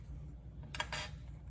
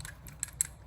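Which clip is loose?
The second.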